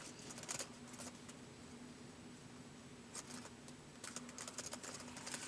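Fingertips of both hands type on the white plastic keys of a laptop keyboard, producing quiet, bright plastic clicks in short irregular bursts with pauses between them. A faint steady low hum sits underneath, and each tap dies away quickly.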